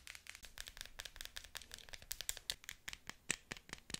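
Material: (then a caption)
Plastic. Long nails tap and scratch along the barrel of a pink plastic novelty pen topped with a small figure, held upright. A quick, irregular run of short, dry, bright clicks and light scratches sounds at low level, with almost no low end and no ring after each tap.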